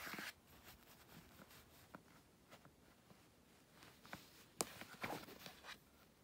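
Fingertips and nails tap and scratch across the lid of a closed grey aluminum MacBook lying on a bedsheet, its thin, flat, mostly hollow body giving each touch a dry, light clack. Quiet, bright scratching runs throughout, broken by about five sharper taps, the strongest near the end, each dying away almost instantly.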